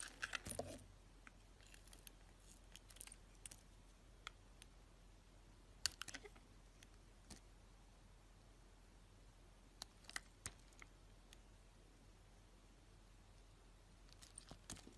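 A box-cutter blade slices and scrapes thin strips from the surface of a hand-held, hand-sized solid soap bar striped pink and white and edged with colorful sprinkles. The result is quiet, crisp, bright scraping ticks and short crackles that come in scattered clusters near the start, middle and end, over a faint low steady hum.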